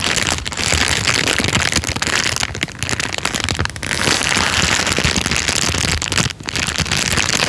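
An empty, thin, clear transparent plastic bag is crinkled and squeezed with the fingertips and thumb. The result is a dense, bright, crackling rustle that runs almost continuously, with brief dips near 2.7, 3.7 and 6.3 seconds.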